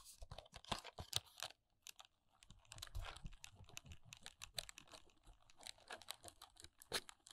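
Long nails tap and scratch the top edge and side panels of a small, hollow Kiss press-on nail paperboard box held in the hands. A rapid run of quiet, dry, bright clicks and scratchy rasps follows, with a short pause near two seconds. Each tap dies away almost instantly, with a faint hollow thump underneath.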